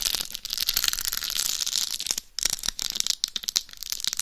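Long pale nails scratch and tap across the rhinestone-encrusted face of a hollow, life-size dummy head microphone. The result is a dense, bright crackle of scraping with sharp clicks of tapping, nearly all high in pitch with little low end. A brief quiet gap comes just past the halfway point.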